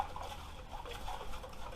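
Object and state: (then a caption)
Metal oil tank with liquid sloshing inside. A metal Harley-Davidson motorcycle oil tank, filled with brake cleaner and sealed with its fill cap, drain plug and fingers over its openings, is shaken to wash dirt out of it. A steady, quiet, low sloshing of liquid inside the tank carries faint wet patters throughout.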